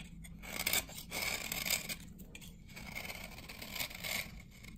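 A hand-held dry glycerin soap bar from 1978 is scraped with a metal knife blade, and shavings gather on the blade. The clip is a steady run of bright, dry scraping strokes, with a faint hum low underneath.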